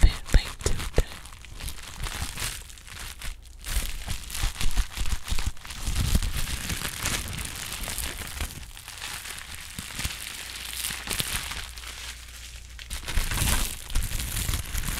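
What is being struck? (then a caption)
Plastic bubble wrap sheet. A thin, air-filled sheet of clear plastic bubble wrap is held up, crumpled and squeezed in both hands with long pink acrylic nails. It gives dense, irregular crinkling and rustling with sharp little pops spread throughout, steady and close, with a few louder bursts.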